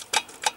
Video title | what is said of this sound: МОТОЦИКЛ НЕ ДЛЯ ЗИМЫ | Более глухой звук будет, когда наполнится.